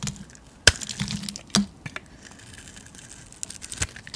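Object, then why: Soap bar cut with a metal blade. A metal blade carves thick curls off a solid white painted soap bar held in the palm. Sharp, bright crisp snaps and short cutting scrapes stand out against a quiet background, with softer scraping in between.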